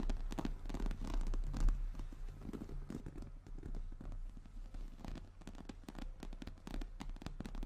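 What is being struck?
Croc-embossed leather handbag.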